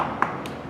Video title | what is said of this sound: Skill Drill: Performing a Gear Inspection | if you hear a hollow spot or something that is not right